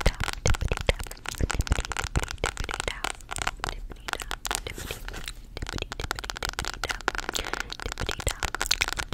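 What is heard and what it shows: Long acrylic nails rapidly tap and scratch the cardboard/paper cover of a solid mint-green hardcover spiral-bound planner held in one hand. The result is a dense stream of sharp, dry, crackling clicks and scratchy rasps with very short ring, mixed with a low thumpy body and some bright, papery crinkle.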